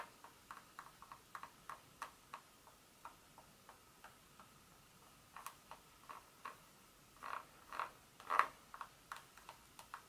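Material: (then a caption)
Chocolate. Long nail tips tap and scratch across the segments of a solid dark chocolate bar lying flat. There are 26 short, dry clicks with a bright, hollow tone around 1.1 kHz over a quiet background, and a few louder, rougher scratches near the end.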